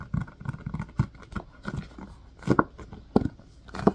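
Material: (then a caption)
Silicone. Fingertips tap, press and scratch the domed cells of an empty blue silicone ice cube tray set in a white plastic frame. The sound is a run of soft, dull, irregular taps and muffled rubbery squeaks, mostly low to mid in tone, with a light scratching texture between them. Each tap dies away almost at once, with no ring.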